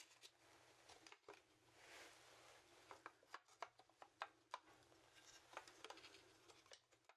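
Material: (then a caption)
Bone. A large, hollow, dry horned goat skull made of bone is held in both hands while fingertips tap and scratch its cranium and snout. Quiet, dry clicks and sharp taps with very short ring sit over soft, bright scratching, with a longer rubbing wash near the two-second mark.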